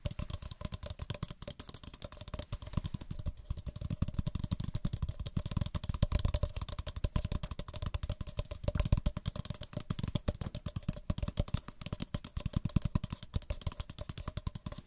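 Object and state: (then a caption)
Paper cup. Fingertips and nails tap rapidly and continuously on the walls and bottoms of two identical small, empty, hollow white paper cups held near stereo microphones. The result is a dense stream of short, dry, hollow taps with a soft, low, papery thump that barely rings after each strike.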